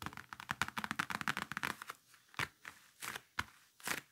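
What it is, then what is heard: Faux leather briefcase. Fingertips and nails tap and scratch across the surface of a large black faux-leather game briefcase with a red stripe and handle, lying flat and closed. Quick, dry taps come in a dense flurry for about two seconds, then thin out into sparser sharp clicks and brief bright scratches. Each tap is short with no ring, pitched around 1.5 kHz above a faint hollow thud.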